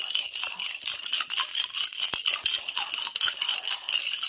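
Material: Glass.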